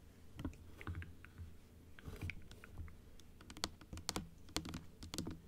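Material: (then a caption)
Plastic. A large plastic dental teeth model, opened to show the rows of teeth, is tapped with long acrylic nails on the plastic teeth and the blue palate. Short, sharp, bright clicks come in irregular bursts over a low background rumble, growing denser and louder toward the end.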